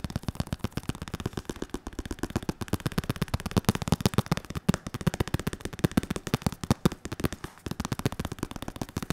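A padded red, white and black synthetic leather boxing focus mitt, held close, is tapped rapidly by fingertips, one bare hand and one in a latex glove. The result is a dense, continuous patter of short, dull, low thumps with almost no ring and little bright content.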